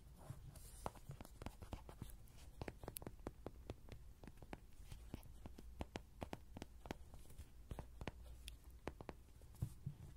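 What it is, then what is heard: Tapped vinyl Rody toy. Fingertips tap on a vinyl Rody toy in a steady, irregular series of soft, dull, hollow taps. Each tap is mostly low thump with little brightness and dies away almost at once over a quiet, low background hum.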